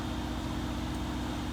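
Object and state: Nothing is struck.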